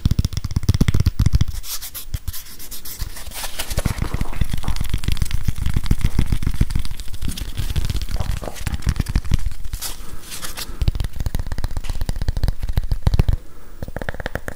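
A small grey whiteboard eraser with a plastic body and felt pad is held in both hands while fingertips and nails scratch and tap it. Dense, irregular scratching and rapid light tapping run almost continuously, with a heavy low, muffled thump and short dry hits that die away immediately.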